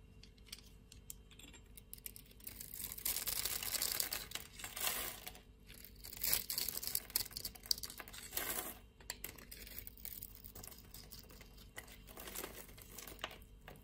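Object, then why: Bar of soap scraped and cut with a blade. A blade scrapes across the grid-scored surface of a solid blue-and-white striped soap bar, cutting it into small cubes. Dense, bright, crackling scrapes and crisp crumbling ticks rise and fall in bursts, with soft gaps between passes.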